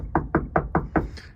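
Five quick, dull knocks on the fiberglass floor of a boat with an OMC 5.8L 400 HP High Performance Series motor, each short and low-pitched with almost no ring. The floor sounds solid, not compromised.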